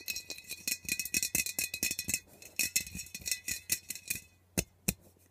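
Fingernails tap and scratch quickly over the metal body and top of an aerosol air freshener can as it is turned to show its top and nozzle. The result is a rapid run of bright, tinny clicks and scrapes with a faint metallic ring, ending in two sharper, isolated taps after a short pause.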